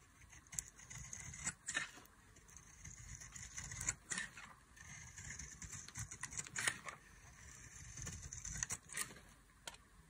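A solid oval bar of dry, white, embossed soap, held in the hand, is shaved with a metal utility knife blade. Soft, bright scraping strokes alternate with sharper, crisp cutting clicks. The sounds are quiet, dry and end abruptly with no ring.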